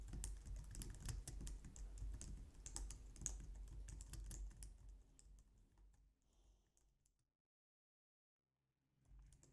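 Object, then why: Plastic computer keyboard. Both hands type on a white plastic low-profile wireless keyboard with long nails and fingertips, making rapid, bright, clicky key taps over a steady low background rumble. The typing thins out and fades to near silence after about seven seconds, then a faint sound returns just before the end.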